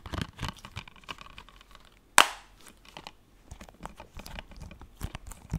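A closed blue plastic PS4 game case is tapped and scratched with fingertips and nails, making quiet, dry clicking and scraping. Halfway through, one sharp, louder tap cracks out bright and dies away almost at once, followed by more soft taps and scratches.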